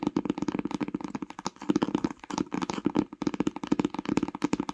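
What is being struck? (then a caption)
Paper-jacketed hardcover book. Long nails scratch and tap the tree-print spine of a paper-jacketed hardcover book while it is held, then tap its grey cover as it lies flat. The result is a steady stream of quick, dry, clicky taps with a muted midrange tone and almost no ring.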